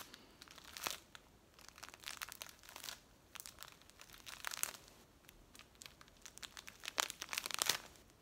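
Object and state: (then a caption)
Plastic bag of dried herbs. A hand-sized clear plastic bag full of dried green leaves is squeezed and scratched by long acrylic nails and fingertips. The result is a quiet, bright crinkling and crackling that comes in short bursts with little low end. Louder rustles stand out near the end.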